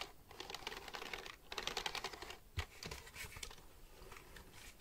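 Fingertips tap and click the keys of a black plastic computer keyboard held upright near the mic. Quick, irregular bursts of bright, crisp plastic clicks are broken by brief pauses, with one deeper, louder thump partway through.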